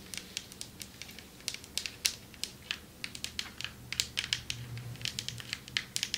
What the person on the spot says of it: Long nails tapping on marble table